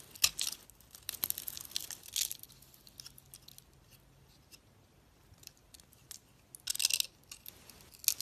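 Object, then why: Soap bar with a glitter coating. A box-cutter blade scrapes and peels the pink glitter coating off a solid, hand-sized white soap bar held in the hand, exposing the white soap underneath. Bright, crisp crackling and tearing scrapes come in short bursts separated by quiet pauses, with almost no low end.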